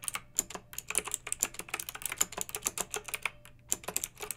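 Long red-nailed fingertips type on a pink plastic mechanical keyboard with round retro plastic keycaps and a blue backlight. The result is an uneven run of sharp, bright clacks, each dying away almost at once, over a faint low hum.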